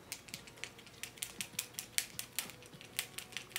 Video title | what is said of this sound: NEW SISLEY-PARIS PHYTO TEINT ULTRA ECLAT FOUNDATION REVIEW | has a little ball inside so you can hear it rattling as you give it a shake